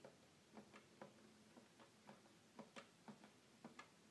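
Fingers tap the black and white plastic keys of a hollow red plastic toy keyboard, making quiet clicks. The taps come in a steady, tick-tock-like rhythm, each a short, dry knock with a hollow low tone and a faint bright edge that fades almost at once.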